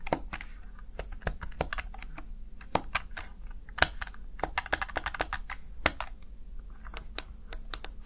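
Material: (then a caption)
Plastic. Fingertips tap and press the keys of a small black plastic backlit Razer Tartarus Chroma gaming keypad. About thirty short, sharp plastic clicks with bright, crisp tops come in an uneven typing rhythm over a steady low hum. Each click dies almost at once.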